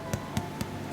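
A stollen yeast bread loaf, fresh from the oven after 45 minutes at 180 °C, is turned over and tapped three times on its underside. Each tap gives a short, dull, low thud around 100 Hz. The hollow sound shows the loaf is cooked through.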